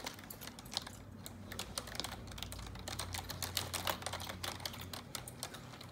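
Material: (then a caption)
Plastic. Long neon-yellow nails type on the keys of a black plastic computer keyboard, making quick, irregular, sharp clicks and taps that are bright and crisp. The taps come at a steady, busy pace over a faint low hum.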